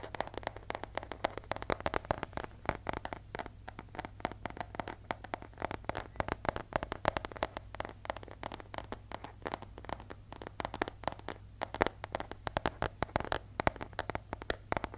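Fingertips and nails tap and scratch the surface of a flat paper airmail-style envelope with striped edges, close to the mic. Dense, rapid, dry clicks and papery scratches continue throughout, centered in the midrange with a bright crackle on top. A steady low hum runs underneath the whole time.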